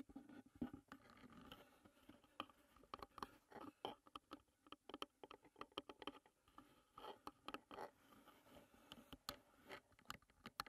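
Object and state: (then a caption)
Wooden tea box. Long nails tap and scratch on the painted lid and sides of a closed, hollow wooden tea box. Quiet, dry, irregular clicks and taps, each dying away almost instantly, alternate with soft scratchy rasps in the mid and upper range, with almost no low end.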